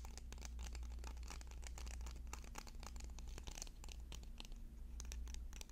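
Fingernails tap and scratch quickly along a bundle of several sharpened yellow wooden pencils held in the hands. The result is a dense run of short, dry clicks and scratches over a steady low hum.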